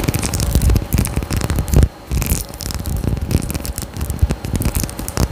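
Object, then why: Small faceted glass bottle with a cap. A small faceted glass perfume bottle with a gold cap and pink tassel atomizer is held near the mic and scratched and tapped with long nails. The result is a dense, close, crackly run of quick scratches and taps with a heavy low-end thump and short decay, broken by a brief pause near the two-second mark.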